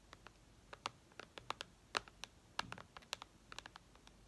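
Long red nails tap on the glass screen of an iPad lying flat, making about twenty-two short, bright, clicky taps in an uneven, typing-like rhythm. Each tap is dry and stops instantly, with a quiet background between them.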